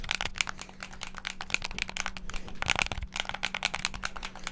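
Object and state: Plastic game controller buttons.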